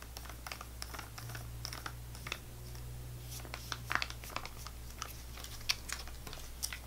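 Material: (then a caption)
Plastic foil. A full GoGo Squeez laminated plastic foil apple sauce pouch is tapped and scratched with long fingernails and squeezed between both hands, so it crinkles. Quick, crisp clicks and bright scratchy crinkles come in irregular bursts over a steady low hum.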